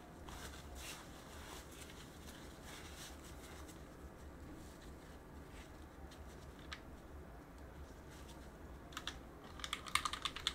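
A gloved hand works a cotton swab between the keys of a backlit mechanical keyboard with plastic keycaps, making soft, scratchy rubbing and faint ticks over a low, steady hum. Near the end, the fingers press the keycaps, giving a quick run of sharp, bright plastic clicks that stand out above the quiet cleaning sounds.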